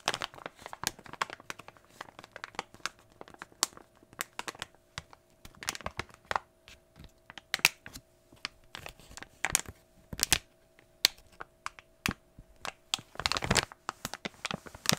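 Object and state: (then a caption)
Plastic foil blind bag crinkled. A small glossy plastic foil toy blind bag is handled with the fingertips, torn open at the top and crinkled. Sharp, bright crackles and crinkles come in many quick bursts at varying loudness, with a denser rustling flurry near the end.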